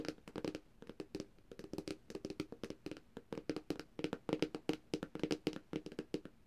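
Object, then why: Glass tablet screen. Long dark-painted nails on both hands tap rapidly across the glossy glass screen of a flat black Samsung tablet. The result is a dense, quick patter of short, dry clicks with very little ring, centered on a low-mid tone with some bright edges.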